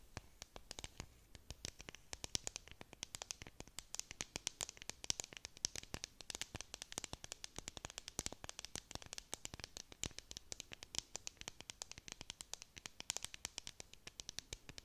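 A clear plastic tumbler cup with a dome lid, filled with confetti, is scratched with long nails while held in both hands. The result is a quiet, steady stream of rapid, crisp scratches and clicks, bright and dry, with almost no ring between strokes.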